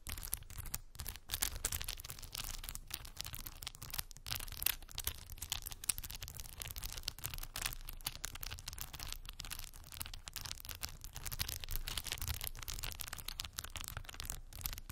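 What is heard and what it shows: Long white acrylic nails tap and scratch across rows of solid plastic faux pearl beads glued onto a small cork board. The result is a continuous, dense stream of crisp, bright clicks and scratchy rasps, set over a steady low rumble. Each click is short and dry, with almost no ring.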